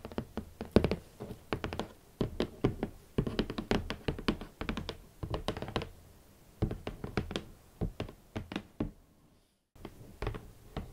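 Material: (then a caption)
Cardboard. Long nails tap on the lid top and front of a large, hollow, rigid red cardboard Valentino shoe box with hot pink leather Valentino Club Platform boots inside. The result is a quick, uneven run of dry, hollow knocks with a low-mid thud that dies away almost instantly. After a brief silence near the end, a few softer taps follow.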